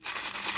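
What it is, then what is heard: Dry mung beans shaken in a bottle. Tiny dry green mung beans are shaken side to side inside a bottle. A steady, bright, hissing rattle of many small grains runs the whole clip, with almost no low end.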